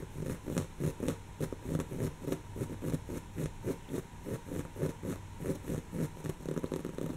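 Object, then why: Woven fabric cushion. Long natural fingernails of both hands scratch a soft, stuffed, brown textured woven-fabric cushion. The result is a quiet, steady run of short, dry scratching strokes, roughly three or four per second in a loose, uneven rhythm. The strokes have a muffled, low-weighted fabric rustle and almost no bright edge.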